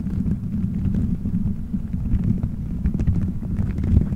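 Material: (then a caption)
Gelatin. Fingertips squeeze, rub and scratch colorful gelatin gummy bears stuck all over a microphone head in a solid dome shape. The result is a continuous, muffled low rumble of squishy thumps with faint soft ticks and scratches on top, almost no bright content.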